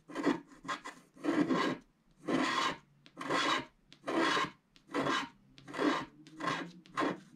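A wooden stylus scratches the background off a solid, black wax-coated scratch art card lying flat, in steady hand strokes. Each stroke is a dry, bright rasping scrape that swells and fades. The strokes come in bursts of about one per second, separated by short quiet gaps.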